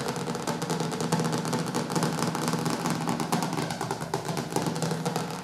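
Fingertips and nails tap and scratch quickly on the glossy dark cover of a large, solid hardcover cookbook with white edges, resting on a wooden table. A dense, steady stream of soft clicks and scratchy rustle runs throughout, with a low warm body under the brighter surface ticks.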